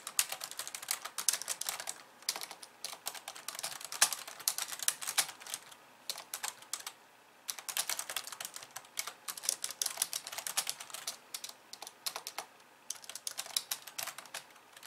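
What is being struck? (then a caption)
Plastic computer keyboard. Both hands with long painted nails type and tap on a hollow, pink-framed plastic computer keyboard with white keys resting on a wooden desk. Rapid, bright, sharp plastic clicks come in dense bursts, with a brief pause around the middle and another near the end. Each click is short with almost no ring and little low end.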